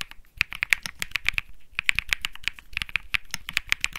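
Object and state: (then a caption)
Mechanical keyboard with plastic keycaps. A 65% mechanical keyboard with plastic keycaps is typed on rapidly with the fingertips of both hands. The result is a fast, uneven stream of crisp, bright clicks and clacks centred in the upper mids around 2 kHz. Each keystroke is short and dry with almost no ring, and there is a brief pause near the middle.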